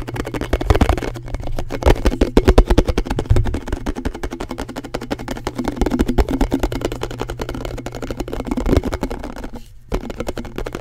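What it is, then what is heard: Plastic container lid, tapped. A round blue plastic canister lid, thin and hollow, is held in both hands and tapped quickly with fingertips and nails close to the mic. The result is a dense stream of fast, dry, hollow taps with a deep, boomy low end and a steady low hum underneath. There is a brief gap near the end before the tapping resumes.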